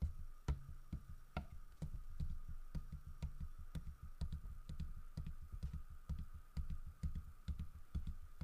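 Fingertips tap rapidly on the carved side of a large, solid carved wooden bear statue. The taps are short, dull, low-pitched knocks that die away almost instantly, falling in a quick, uneven rhythm over a faint steady tone in the background.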